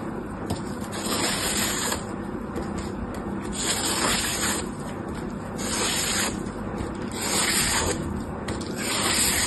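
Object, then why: Dry floral foam block. A utility knife blade slices and scrapes thin layers off a palm-sized slab of dry green floral foam, solid and porous with many round holes, held in one hand. The result is a continuous crisp, crunchy scraping hiss, bright and broadband, swelling in repeated strokes at a fairly steady level.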